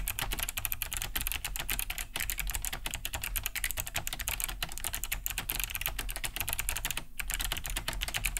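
Fast two-handed fingertip typing on a large beige Cherry G80-3000 mechanical keyboard fitted with Kailh BOX White switches, with a hollow plastic case and thick plastic keycaps, resting on a wooden desk. A steady stream of crisp, clicky key-switch taps with bright clacks and a hollow low thud beneath. Each tap stops almost at once.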